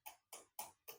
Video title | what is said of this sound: Perbedaan❗❗❗Stik PS2 Orignal dan KW | dia suaranya, ini bukan karet nih, tapi ini plastik